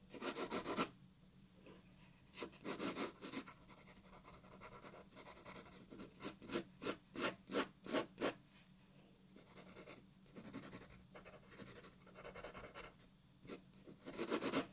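A graphite pencil shades a white paper sheet on a wooden table with rubbing strokes, making dry, scratchy, broadband rasps with bright high content. Bursts of back-and-forth strokes come in quick, uneven clusters, with a dense run of short strokes in the middle and quieter, softer shading between them.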